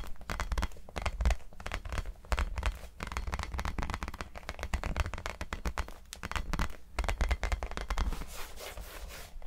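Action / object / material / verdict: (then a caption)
scrape / small hollow rubber basketball with pebbled surface / rubber / none. Fingertips and nails scratch and rub the pebbled surface of a small, hollow, orange textured rubber mini basketball held in both hands. The result is a dense, continuous run of crackly scratching with quick rustling bursts over a low, muffled rumble.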